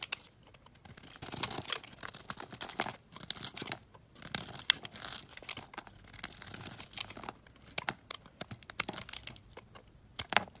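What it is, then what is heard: Bar soap being shaved. A solid olive-green stamped bar of soap, held in the hand, is shaved into thin flakes with a box-cutter blade. Quiet, bright, crisp scraping and crackling strokes come in short uneven bursts, with almost no low end.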